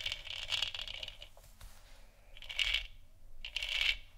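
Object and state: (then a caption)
Plastic moon lamp. Long nails tap quickly around the sides of a large, hollow, textured plastic moon lamp sphere. The result is clusters of dry, bright, clicky taps with a high ringing tone. There are three bursts, with quieter, softer tapping between them.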